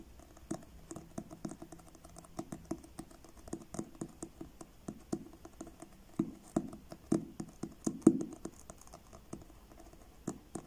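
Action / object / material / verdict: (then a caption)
tap / card-covered paperback book / card / none. Fingertips tap the blue card cover of a paperback book held upright. The taps are soft, dull and short, landing in an uneven, unhurried patter with a muted low-mid knock and little ring, a few of them louder than the rest.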